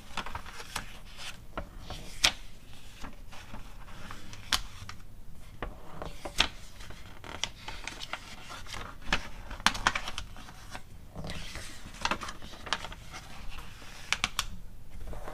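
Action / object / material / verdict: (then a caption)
tap / glossy paper magazine / paper / none. Long nails tap the pages of an open glossy paper magazine catalog as they are flipped one by one. Sharp, bright clicks and taps stand out over a soft, steady papery rustle and a low rumble. The taps are short and crisp with almost no ring, and the whole clip stays quiet and close.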